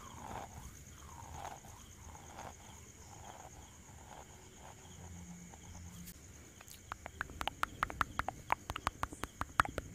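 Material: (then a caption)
Stainless steel. A small, airy ball of stainless-steel wire scrubber, held in one hand close to the mic, is squeezed and rubbed with the fingertips. It gives soft, crinkly rustling that swells in slow pulses, with a faint steady high whine underneath. After about 7 seconds it turns into a quick run of sharp, bright crackles and snaps.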